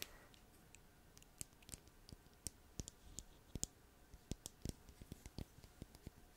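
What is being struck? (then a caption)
Small plastic bottle with cap. Fingernails tap and click on a small purple bottle with a white plastic cap held in the fingers, making about 18 short, sharp clicks in an irregular rhythm. Each click is quiet and bright with a soft low thump beneath it, dies away almost instantly, and sits over a faint steady hiss.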